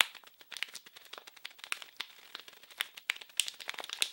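A small blue printed package wrapped in plastic film is crinkled and scratched with the fingers. Dense, bright crackles and sharp snaps come in quick, irregular bursts with almost no low end, and each one cuts off at once.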